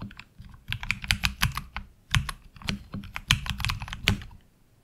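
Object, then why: Mechanical keyboard with ABS plastic keycaps. Fingertips of both hands type steadily on a HyperX Alloy Origins Core tenkeyless mechanical keyboard with black ABS plastic keycaps and tactile switches, resting on a desk mat. Quick, uneven bursts of sharp, bright clacks ride over a low, hollow thud from each keystroke, and each one stops almost instantly.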